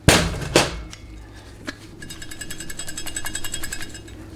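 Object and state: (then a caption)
Transmission drum bleeder ball free and working. A steel 200-4R forward/direct transmission clutch drum is shaken to check its bleeder ball capsule. Two sharp metallic clanks and a fainter knock give way to a quick, steady metallic rattle as the ball moves freely in the capsule. This shows the capsule is working, so excess fluid vents from the drum when the clutch pack is off.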